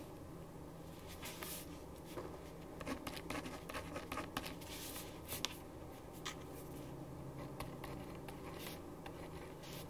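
A ballpoint pen writes on a thin printed paper sheet lying flat on a wooden desk, making soft, bright scratching strokes in short bursts. A steady low hum runs underneath throughout.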